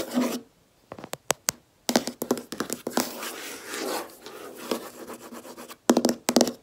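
Long red nails tap and scratch across a large, solid, flat white desk top, likely laminate. Quick, sharp clicks come in scattered bursts with short silences between them, then a stretch of continuous rubbing and scraping. A final cluster of bright taps ends the clip, with very little low end and almost no ring after each hit.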